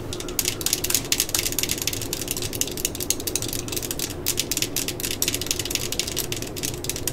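The hollow yellow and black plastic body of a cordless drill is tapped with long nails. Rapid, bright, clicky taps sound over a low steady rumble. Each tap dies away almost at once.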